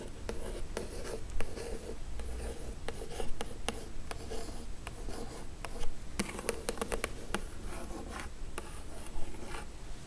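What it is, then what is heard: Printed cardboard box scratched with nails. Long acrylic nails scratch and trace over the glossy printed surface of a hollow Glowria cardboard subscription box with an illustrated lid, lying flat. Dry, raspy scratching runs throughout, punctuated by short, sharp clicks of the nails over a low, dull rumble.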